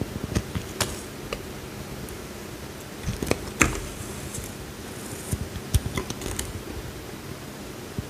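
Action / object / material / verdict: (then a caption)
scrape / soap bar scraped with a metal knife blade / soap / none. A small, solid blue bar of soap held in the hand is carved and scraped with a metal utility knife blade, peeling off thin curls. About ten short, crisp scraping clicks and snaps with bright, high edges stand out over a faint, steady low hum, with the densest cluster in the middle and near the end.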